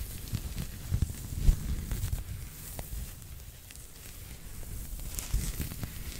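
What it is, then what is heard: Knitted fabric toy scratched. A small pink knitted pig toy, soft and stuffed or hollow, is held in one hand and scratched with fingertips and short nails close to the mic. Soft, low, muffled rustling and scratching sounds come in uneven bursts, with a few brief, sharper fabric scrapes standing out.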